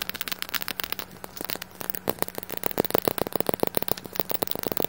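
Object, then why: Small glass perfume bottle. A small, round clear glass perfume bottle with a gold metal cap and some pink liquid inside, held in the hand, is rapidly tapped and scratched with fingernails. The result is a fast, uneven stream of short, dry clicks and bright scratchy crackles, some carrying a faint glassy tone around 430 Hz.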